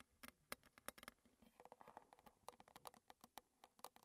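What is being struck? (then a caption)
Small metal tea tin tapped with fingernails. Long red nails tap on the gold lid and sides of a small, closed, square Twinings metal tea tin standing on a table. About 27 quick, light, dry taps follow one another in an irregular patter. Each tap has a short bright metallic ping that dies away almost at once.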